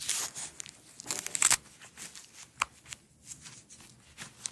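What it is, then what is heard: Nylon hook-and-loop strap being peeled. Long acrylic nails and fingertips peel apart a single thin, flat, flexible blue hook-and-loop nylon strap, then lay it out and roll it up. Bright, crackly ripping and scratchy tearing bursts come in short irregular spurts, the loudest near the middle, with almost no low end.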